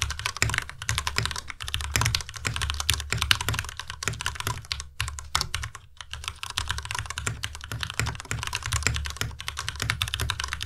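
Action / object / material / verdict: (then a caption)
tap / plastic mechanical keyboard / plastic / none. Both hands type fast with their fingertips on a white plastic tenkeyless Ducky Miya Pro mechanical keyboard. The result is a dense, continuous stream of short, bright clacks over a low thock from each keystroke. Two brief pauses occur around the five- and six-second marks.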